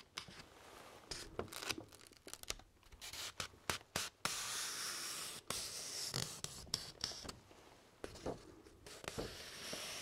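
Fingertips and nails scratch and rub along the top edge of a single thin sheet of white printer paper held upright. Quick, irregular dry scratches alternate with longer sustained rubbing strokes, giving a bright, crackly, papery hiss with little low end.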